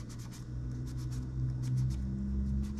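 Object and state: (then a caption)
Plastic laptop keyboard. A gloved hand scrapes a cotton swab along the gaps between the plastic keys of a silver laptop keyboard, with light key presses. Soft, bright scratchy swishes repeat over a steady low hum that dominates the sound.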